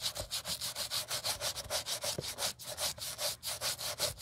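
A gloved hand scrubs the lower side and sole edge of a white leather Gucci Ace sneaker with a wooden-handled bristle brush during restoration. About 22 quick back-and-forth strokes make a bright, hissy, scratchy rasp, each swelling and fading with almost no low end.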